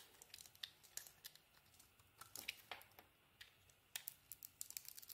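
A metal blade carves a solid soap bar, with a brown-pink coating and a white core, into curling shavings. Quiet, bright, crisp scraping and crackling sounds come in quick, dense bursts of short clicks with almost no low end. The strokes fall irregularly over a faint hiss.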